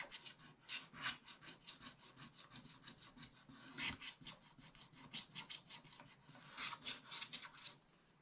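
A wooden stylus scrapes a wide area of the black coating on a scratch-art paper page in a spiral book. It makes a rapid, uneven series of dry, bright rasping strokes with little low end, swelling into louder bursts before trailing off.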